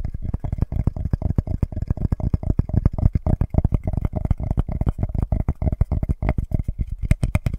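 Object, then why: Flat wooden board. Fingertips and nails tap and scratch the face of a flat, solid, light-wood board about the size of a notebook, held up close to the mic. A fast, steady stream of short, dull, low knocks fills the clip, each dying away almost at once, with a faint scratchy rasp between them and a few brighter ticks near the end.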